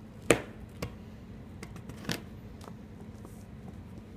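A large steel kitchen knife chops through a solid green chalk stick and a pile of green and pink chalk chunks. Four short, dry cracks are heard, the first the loudest, each with a bright crunch that dies away almost at once over a low steady hum.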